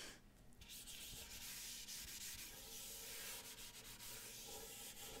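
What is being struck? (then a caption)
Wooden ukulele body. Fingertips and nails rub and scratch across the body of a small hollow wooden lute-style ukulele painted with a Great Wave design, which is held by the neck. The result is a soft, continuous, hissy scratching that sits mostly in the high frequencies and holds a steady level throughout.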